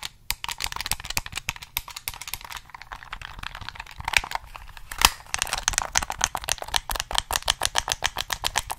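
Fingertips click the buttons and tap the body of a black, hollow plastic PS3 game controller, held at different angles near the mic. The result is a rapid, uneven stream of short, dry, bright plastic clicks and taps. The taps grow more regular and evenly paced in the second half, with a few sharper, louder knocks.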